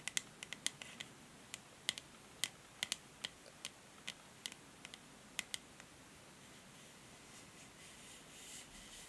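Long nails tap on the grey matte plastic back and handle of a paddle hair brush, making about 22 crisp, bright clicks with almost no ring over the first six seconds. The taps then give way to a soft, hissy scratching of the nails along the plastic until the end.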